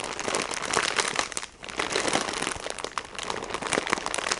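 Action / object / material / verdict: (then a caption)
tap / sponge in plastic wrapper / plastic / none. A plastic-wrapped sponge package is tapped and squeezed by fingertips with painted nails, crinkling the wrapper. Dense, bright crackling and crunching plastic noise runs throughout, with a brief quieter dip around the middle and sharp taps scattered through. The sound is crisp and dry with almost no low end.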